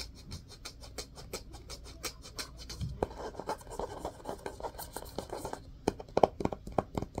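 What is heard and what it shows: Fingernails scratch and rub along the orange spine and cream cloth-covered board cover of a solid, medium hardcover book. Quick, dry scratches repeat steadily, turning into a denser, louder rubbing with a midrange tone in the second half, with a few sharper strokes near the end.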